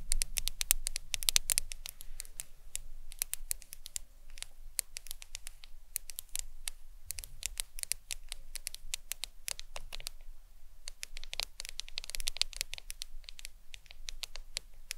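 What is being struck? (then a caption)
Smartphone glass screen. Long nails tap and scratch the glass screen of a black smartphone lying face up. Rapid, sharp, bright clicks with very short decay patter irregularly over a low, steady rumble, with a brief lull around the 10-second mark before they resume.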